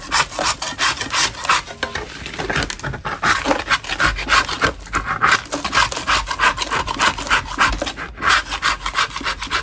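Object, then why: Natural chalk block. A gloved hand scrapes a large solid lump of natural soft white chalk in a plastic bin with a metal putty knife, shaving off powdery crumbs. The result is a steady run of quick, rough scraping strokes, about three per second, with a bright, gritty rasp centered around 1 kHz and little low end.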